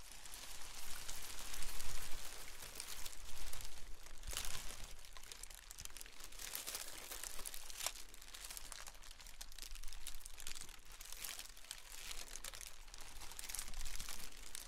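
Metallic foil pom poms are shaken and crinkled up close, their thin foil strips giving a dense, bright rustling crinkle that swells and fades in waves. A steady low hum sits underneath throughout.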